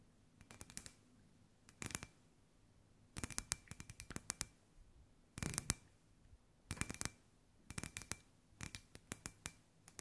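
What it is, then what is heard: Glass ball lamp tapped with fingernails. Long white acrylic nails tap and scratch on a hand-sized, hollow, clear glass ball lamp with a fairy-light wire inside, held in both hands. Quick clusters of sharp, bright clicks come in bursts with short quiet gaps between them, each click dying away almost instantly under a faint low background.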